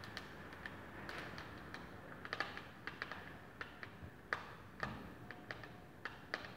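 Long painted fingernails tap on a small, flat, rectangular plastic eyeshadow palette with a clear lid, held in the hands. Around twenty quiet, sharp, bright clicks come at an irregular pace, each dying away at once over a low, steady hiss.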